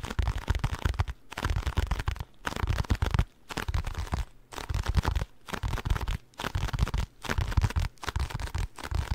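A small blue and white printed cardboard packaging box, hollow and held close to the mic, is tapped and scratched with fingertips and nails. The result is bursts of dense, dull, low thumping taps mixed with a dry, crackly scratching, separated by short silent pauses.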